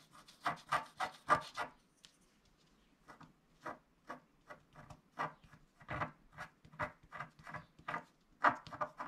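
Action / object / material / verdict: scrape / wax-coated scratch-art paper and wooden stylus / wax-coated paper / none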